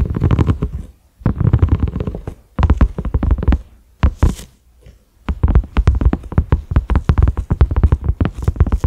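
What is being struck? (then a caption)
Silicone pot lid. Fingertips and short nails of both hands tap on a large, flat cream silicone pot lid with concentric ridges and a black center knob. The taps come as rapid, deep, muffled thuds that die away almost instantly. They arrive in dense bursts separated by short pauses.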